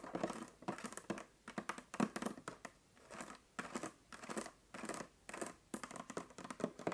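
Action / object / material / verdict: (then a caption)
scrape / plastic water bottle partly filled with water / plastic / none. Long nails tap and scratch the ridged bottom of a 1.5 L clear plastic water bottle that is partly full of water. Quick, dry clicks and crinkly scratching bursts come in an uneven rhythm. The sounds are soft and bright-edged, and each one dies away almost at once.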